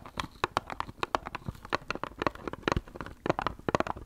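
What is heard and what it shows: Long acrylic nails tap a small, hollow, light brown wooden box with a slot cutout, held right by the microphone. The result is a quick, irregular run of short, dry, hollow clicks and knocks with a woody tone around 600 Hz and bright nail ticks on top. Each tap dies away almost instantly.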